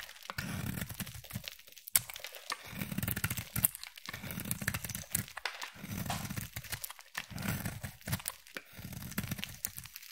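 A utility knife blade shaves flakes off a palm-sized solid peach bar of soap. Repeated scraping strokes give crisp, crackling crunches and soft tearing sounds, with a low rumble under each stroke and sharp clicks at a few points.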